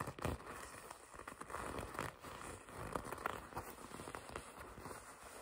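A red leather jacket sleeve is pinched, gripped and rubbed with long red nails and fingertips. The result is a quiet, steady stream of soft creaking and crinkling friction, broken by small crackly bursts as the grip tightens and shifts.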